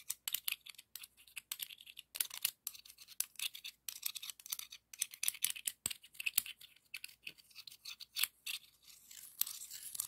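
The edge of one scallop shell is scraped and rubbed across the ribs of a hollow, pink, ribbed scallop shell. It makes quick, bright, scratchy rasps in dense bursts with brief gaps between strokes. There is almost no low end, and each scrape cuts off at once with no ring.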